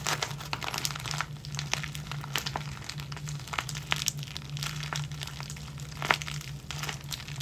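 A clear plastic zip-lock bag full of clear elastic hair bands, with a ball chain, is scrunched and crinkled in the fingers and then rubbed with the fingertips. Dense crinkling and crackling fills the clip with many sharp, bright ticks over a steady low hum.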